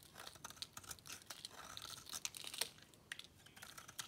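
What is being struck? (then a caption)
Bar of soap carved with a metal blade. A metal cutter blade scrapes and carves crunchy flakes off the edge of a solid, dry white bar of soap held in the palm. The result is a quiet, bright, dry crackle of rapid little crunches and snaps, with a few sharper ticks standing out, and almost no low end.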